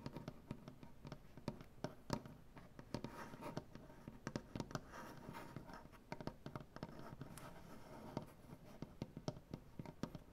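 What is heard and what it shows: Dark-painted fingernails on both hands scratch and tap across a solid light-wood butcher block tabletop. The result is a quiet, dry, dull-toned patter of many quick, crisp clicks over a soft continuous scratching rasp, each hit dying away almost instantly.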